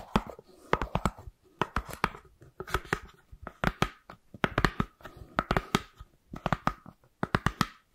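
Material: Styrofoam.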